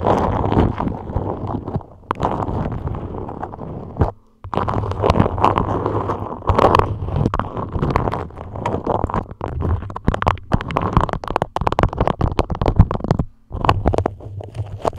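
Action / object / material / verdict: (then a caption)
scrape / beeswax-coated cotton food wrap / waxed cotton / none. A dark grey polka-dot beeswax-coated cotton food wrap, moulded over a microphone into a dome, is scratched and gripped by long nails. The result is close, dense, low-heavy crinkling and scraping with rapid sticky taps and a steady low hum, broken by a few brief pauses.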